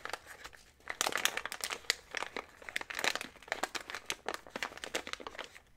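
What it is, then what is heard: Plastic snack bag crinkled. A small printed plastic snack bag full of trail mix is held close while fingertips squeeze, fold and rub the crinkly plastic along its sides. Dense, bright crinkling and crackling come in quick sharp bursts that swell and fade, with almost no low end and no ring after each crackle.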